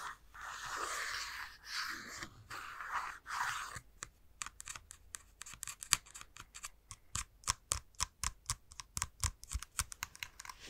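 A plastic Nintendo Switch console is held near the mic with its back side facing out, and the fingertips of the holding hand work its plastic shell. It opens with about four seconds of soft, breathy scratching swells. Then comes a fast run of crisp, dry, bright taps with almost no ring.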